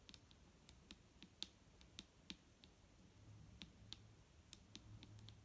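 Long nails on both hands tap a large clear plastic micellar water bottle with a green cap, full of liquid and lying on a wooden table. The result is a quick, irregular series of sharp, dry clicks with a bright tone around 3.6 kHz. A faint low rumble sits underneath.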